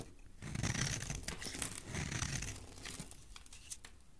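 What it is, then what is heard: Bar soap being shaved with a blade. A metal blade cuts into a solid green bar of soap held in the hand, peeling it into ridged shavings. Dry, crisp scraping and tearing sounds run almost continuously, with brighter rasping bursts over a soft low rumble that taper off toward the end.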